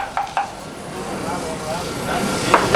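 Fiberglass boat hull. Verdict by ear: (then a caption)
Sound. A sound fiberglass boat hull is tapped to check for voids or delamination, with two quick taps early and two more near the end. Each tap gives a short, bright knock ringing near 1 kHz that fades quickly over a low background hiss. The hull sounds solid and is judged good.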